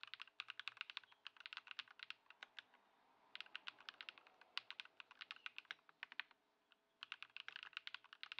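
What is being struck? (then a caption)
Mechanical keyboard with plastic keycaps. A compact white Ducky One 2 SF mechanical keyboard with plastic keycaps, sitting on a wooden desk after a Poron foam mod and a switch swap to Lumia Matcha switches, is typed on continuously with the fingertips of both hands. Quick, bright, sharp key clicks come in dense bursts. Short pauses fall near 3 seconds and 6.5 seconds, and each click dies away almost instantly.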